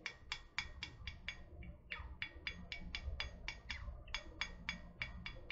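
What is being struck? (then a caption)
Metal water bottle. Long painted nails tap quickly on a tall, hollow, printed metal water bottle held near the mic. The result is a fast, slightly uneven string of short, bright clicky taps with a faint high ring, over a low background rumble.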